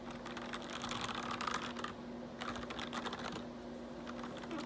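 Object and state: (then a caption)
Plastic computer keyboard. A forearm brushes across the keys of a black plastic RGB backlit computer keyboard, then fingertips type on it, giving dense, bright plastic clicking and rustling. The clattering comes in two busy stretches with a brief quieter gap near the middle, over a faint steady low hum.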